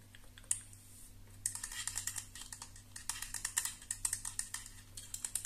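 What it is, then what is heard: Plastic hair straightener tapped with nails. Long nails tap and scratch along the arms of a black and purple plastic flat iron with a hollow housing. The result is a rapid, irregular run of sharp, bright clicks and light scratches with very short decay, over a faint steady low hum.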